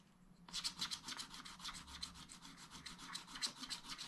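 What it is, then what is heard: Scratch-art paper being scratched. A stylus scratches the yellow ornament area of a spiral scratch-art pad, a flat, thin coated sheet over colored paper, while the other hand steadies the page. After a brief quiet start, rapid repeated scratch strokes come at roughly three to four per second, each a dry, bright, hissy rasp with almost no ring and little low end.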